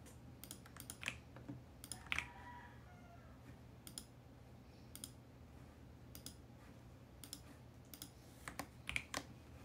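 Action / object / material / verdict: tap / plastic mechanical keyboard / plastic / none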